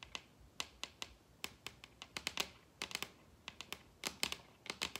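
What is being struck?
Wooden table top.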